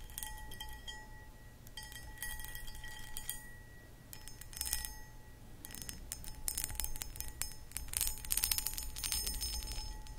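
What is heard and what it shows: Long acrylic nails scratch the textured sides of a hollow, empty, medium cut crystal footed glass pedestal bowl. The result is bursts of bright, gritty scratching that raise faint high glassy rings, over a steady low hum.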